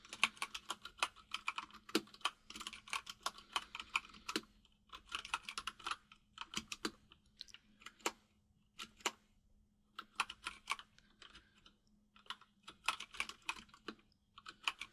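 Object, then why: Mechanical keyboard with plastic keycaps. Both hands type rapidly with their fingertips on a white full-size mechanical keyboard with plastic keycaps resting on a desk. Dense bursts of short, bright, clacking key taps die away almost instantly, broken by brief pauses. A faint steady low hum sits underneath.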